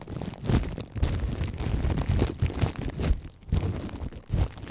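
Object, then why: Plastic cling film wrapped over a microphone. Plastic cling film wrapped over the right microphone is cupped in both hands while fingertips and long nails squeeze, scratch and tap the film. The result is close, muffled crinkling with deep, boomy thumps and rustles, heavy in the low end with almost no bright top. Bursts swell and fade in an uneven, continuous rhythm.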